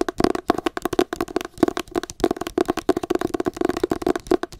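Long acrylic nails tap and scratch the matte paper cover of a solid, pale green hardcover book. There are about 18 quick, dry taps with very short decay, mixed with soft scratching, and a hollow tone around 330 Hz rings through each tap.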